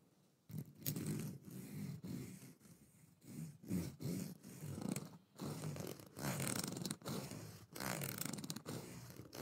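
Fingertips strum, scratch and flick across the teeth of a long, solid, black plastic fine-tooth comb held close to the microphone. The result is a series of buzzy, low rasping bursts laced with bright ticking clicks, rising and falling in uneven strokes.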